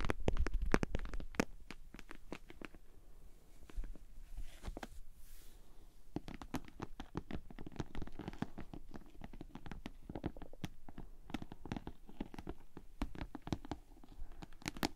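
Long nails scratch and tap the sides and top edge of a hollow pink glossy PVC Ted Baker cosmetic bag held upright. Rapid, irregular dull clicks and soft scratching are heard, louder at the start, thinning out briefly, then continuing as a steady patter of short taps.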